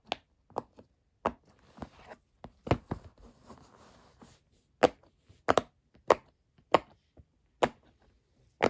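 Fingertips press the hollow bubbles of a square rainbow silicone pop-it fidget toy, which is partly lifted in the middle, producing 13 short, dry pops with a midrange snap and almost no ring. The pops come at irregular intervals, with a faint soft rustle between them in the middle of the clip.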